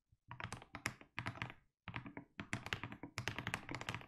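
Both hands type steadily with their fingertips on a 60% mechanical keyboard with SA plastic keycaps and a white case. The rapid keystrokes have a deep, thocky low body with bright clacky tops and very short decay, broken by a brief pause near the middle of the run.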